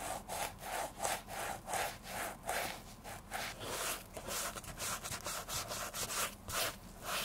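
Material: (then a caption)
Leather. A grey sponge is rubbed back and forth over the upper of a vintage women's black leather oxford shoe, hollow and empty and held in bare hands, during cleaning and restoration. Steady, rhythmic scrubbing strokes give a bright, hissy friction sound with a midrange tone near 750 Hz. Each stroke swells and fades quickly with little low end.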